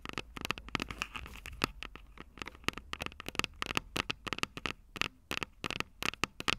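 Long purple nails tap and scratch the small, hollow, silver metal microphone capsules of a Tascam DR-05 recorder. The result is a rapid, irregular run of short, bright clicks and scratches with a tinny resonance around 1.2 kHz, each dying away almost instantly over a faint low hum.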